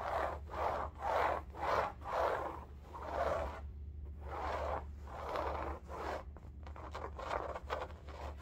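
Long nails scratch an upright cylindrical bolster pillow in striped woven fabric. The result is a series of soft, dry, raspy strokes centred in the mids, with a low steady hum beneath them. Several strokes come in quicker, fainter bursts toward the end.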